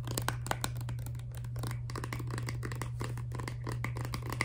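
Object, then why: Plastic toothpaste tube. A filled, laminated plastic toothpaste tube is tapped quickly with long nails while held up. Many rapid, short, bright clicks and light scratchy taps run continuously over a steady low hum.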